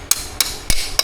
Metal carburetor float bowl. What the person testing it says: When you hear that hollow sound, once again, it means it's broken the seal.